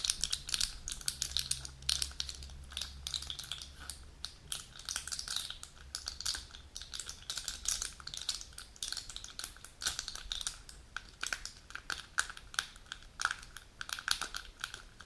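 Long nails scratch the foil side of a plastic-and-foil pill blister sheet full of capsules, then the sheet is flipped and the nails tap on its plastic pockets. The result is a dense stream of quick, bright, dry clicks and crinkly scratches with almost no ring, over a faint low hum during the first few seconds.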